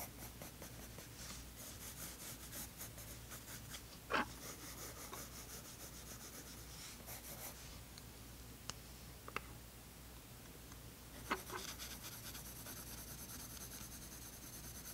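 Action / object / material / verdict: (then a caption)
scrape / colored pencil on a paper sketchbook page / paper / none. A dark colored pencil scratches short shading strokes across the tan toned paper page of a spiral sketchbook. The result is a quiet, steady, papery scratching with bright hiss over a constant low hum. A few sharper ticks stand out near the middle and later in the clip.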